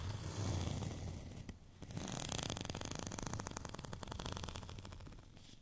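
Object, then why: Studded plastic rolling pin. A white, studded plastic rolling pin, held tilted diagonally, is scratched across its raised bumps with short fingernails. A dense, brushing scrape with a low rumble gives way after a brief pause to a fast, steady run of bright, crisp ticks as the nails pass over the bumps, then trails off quietly.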